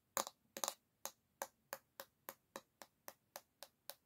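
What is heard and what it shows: A single long fingernail taps the solid bamboo back of an oval hairbrush held by its handle. It makes a quick cluster of clicks, then a steady run of evenly spaced, crisp, bright taps. Each tap dies away almost at once over a quiet background.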